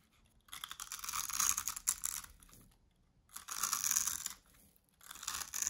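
A small metal blade cuts and scrapes cubes off a green bar of dry, solid soap that is pre-scored into cubes and held in hand. Three crunchy, bright scraping passes of dense crackle are heard, separated by short quiet gaps.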